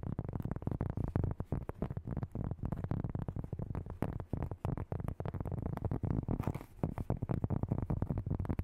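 A large, round, flat, solid cork board is held up and tapped and scratched with long nails and fingertips. Fast, chaotic, dull low thuds run almost without pause, each dying away at once, with a soft scratchy brush underneath and a brief lull just before the seventh second.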